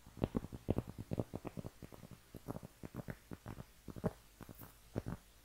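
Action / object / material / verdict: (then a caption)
scrape / round cork trivet scratched with fingernails / cork / none. Long painted nails scratch a round, flat cork trivet, a thin solid disc held in both hands. The result is a quick, uneven series of short, dry, muffled scratches, low in tone with almost no ring, each stopping almost at once.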